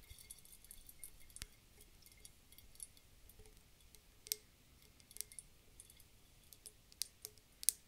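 Long dark fingernails tap a round clear glass bulb bottle partly filled with water and glitter, held in both hands. Sparse, bright, sharp ticks and clicks come at an uneven pace over a soft, quiet hiss. Each tap dies away almost instantly.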